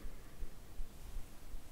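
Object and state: Nothing is struck.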